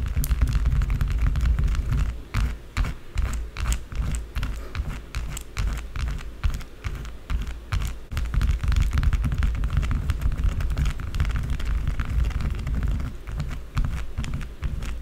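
Long blue acrylic nails scratch fast across a small, solid, rectangular white bar of soap resting on a dark table, raising a few shavings. The result is a dense, continuous run of quick, dry scraping clicks with bright crisp edges over a heavy low rumble, easing briefly in the middle before picking back up.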